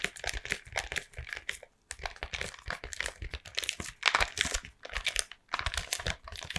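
A closed Toffifee cardboard box full of chocolates, likely still in its plastic wrap, is held in both hands and tapped with long painted nails. Quick, crisp, bright taps run in dense bursts, mixed with crinkling of the wrap and short pauses between flurries.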